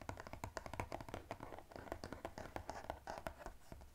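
Fingernails rapidly scratch and tap the top edge of a small blue-and-white striped glossy cardboard box held in one hand. The result is a quiet, quick string of dry clicks and scratchy brushes, each with a soft low thump and almost no ring.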